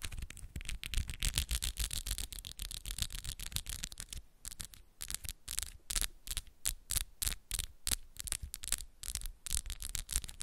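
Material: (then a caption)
Acrylic. Long, solid acrylic press-on nails are tapped fast against each other between both hands, producing a rapid stream of sharp, bright clicks. For the first four seconds the taps blur into a dense, continuous clatter, then they separate into quicker bursts of distinct clicks with brief gaps. A low hum sits underneath throughout.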